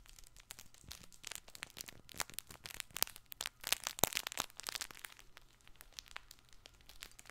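A soft fabric crinkle toy ball with an orange panel and red stars is squeezed and rubbed by both hands close to the microphone. The result is a steady run of bright, dry crinkling and crackling with sharp little crunches, loudest around the middle, over a quiet low hum.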